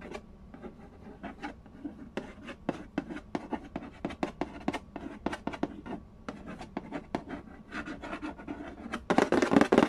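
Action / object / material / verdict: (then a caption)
tap / printed cardboard game box / cardboard / none. Fingertips and nails trace, tap and scratch the glossy lid of a hollow, printed-cardboard Candy Land board game box lying flat on a wooden floor. The result is a fast, irregular run of short, dry taps with a hollow low-mid body, mixed with soft scratching. It ends in a louder burst of bright, rough scratching.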